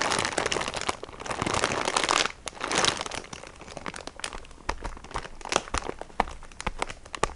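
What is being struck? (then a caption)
Plastic-wrapped sponge pack. A printed plastic package filled with sponges is gripped and scratched with fingertips and nails, crinkling the wrapper. Dense, bright crinkling fills the first two seconds and returns briefly near three seconds. It then thins into scattered sharp crackles and light clicks.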